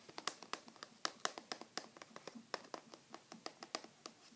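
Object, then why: Small closed cardboard box. A small, flat, light-blue printed Skoshbox cardboard box, closed and held in both hands, is turned over while fingertips scratch and tap its lid and sides. A quick, uneven series of dry, crisp taps and soft scratches sounds bright and papery, with almost no low end. Each hit dies away instantly with no ring.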